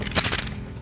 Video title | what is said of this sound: SAFETY RESTORE How To: Test for Locked & Blown Seat Belts/Buckles | Easy way to test if the seat belt is blown, is by simply shaking it. If you hear it rattle, like this one, that absolutely means it's blown.